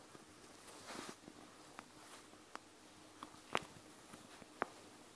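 Long nails tap the clear plastic over the gel beads of a panda gel bead eye mask in close-up. Quiet, irregular, sharp clicks with a bright plastic tone and almost no ring stand over a faint hiss, with a soft rustling swell near the first second. The two loudest taps come late in the clip.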